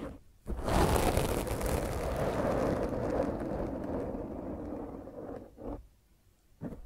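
A black foam microphone windscreen is scratched with the long nails of both hands, then with one hand at the side. The scratching makes a loud, dense, rough rustling that sits mostly in the low and middle range. It eases off near the end and returns in brief bursts.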